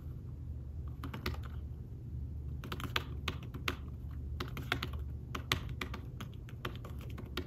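Fingertips of both hands tap the keys of a thin, fabric-covered tablet keyboard case in fast typing. The result is quick, dry, soft clicks that come in bursts with short pauses, over a steady low hum.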